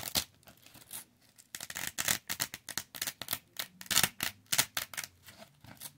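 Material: Velcro fabric.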